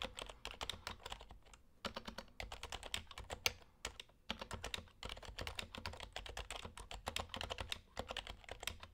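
An HHKB Hybrid Type-S plastic Topre keyboard with plastic keycaps is typed continuously with the fingertips. It gives a rapid stream of soft, short, bright key clacks with light low thumps, broken by brief pauses near 2 and 4 seconds.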